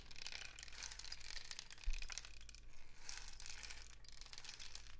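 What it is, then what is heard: Cardboard rain stick cascading. A long, hollow, painted cardboard rain stick is held diagonally and slowly tilted by hand, with no striking. Its inner filling cascades down the tube in a continuous patter of many tiny bright ticks and rustles. A steady low hum sits beneath, and a brief thump comes near the two-second mark.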